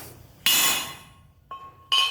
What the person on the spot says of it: you can hear the pitch change whenever I tapped it in